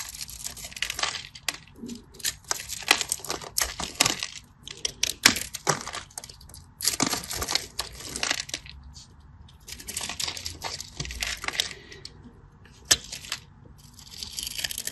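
A solid cream-colored bar of soap with a scored grid, held in the hand, is carved and scratched with a craft knife. Dense, bright, crisp scraping and crackling comes in bursts of many quick cuts with short pauses between them, and there is almost no low end.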